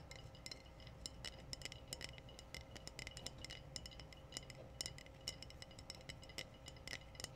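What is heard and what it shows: Glass bottles are tapped in a rapid, irregular series, giving short, bright clinks that die away almost instantly. The taps sit over a quiet, steady background with low rumble and a faint constant hum.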